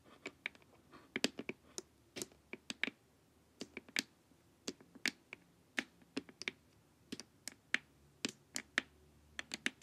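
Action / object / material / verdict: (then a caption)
tap / plastic LED face mask / plastic / none. Long nails tap the sides of a glossy, hollow plastic LED face mask in an irregular run of about thirty quick taps. Each tap is a short, bright, dry click that dies away almost instantly, with nearly no low end.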